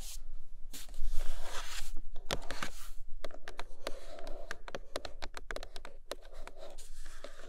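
Long nails scratch across the matte underside of a large white iPad Pro cardboard box, making a broad, dry rasping that rises and fades over the first few seconds. Then comes a run of quick, irregular, sharp taps on the cardboard, each a short dull click with almost no ring, mixed with lighter scratching.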